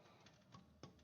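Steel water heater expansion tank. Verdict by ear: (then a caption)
Hollow. A few light taps on the air side of a steel expansion tank during a water heater install give short, hollow, dry knocks with almost no ring. The hollow sound shows the tank's bladder is intact, which is normal.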